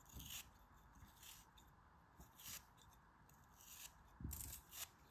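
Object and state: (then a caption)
Kinetic sand chunk being cut. A craft knife blade repeatedly scrapes and cuts a small, solid lump of grey kinetic sand held in the fingers, and crumbles of sand fall away. Each pass makes a short, grainy scraping cut with a bright, hissy top and a soft low thud. Quiet pauses separate the passes.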